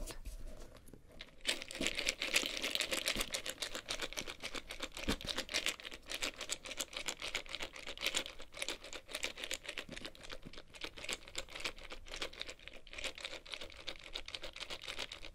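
Long red nails tap and scratch the lid and sides of a closed, hollow, medium-sized hexagonal wooden box painted in mint, black and red stripes with a small metal clasp, while the box is lifted and tilted. A rapid, uneven stream of short, dry, bright clicks and scratchy rustles continues throughout, each tap dying away almost instantly.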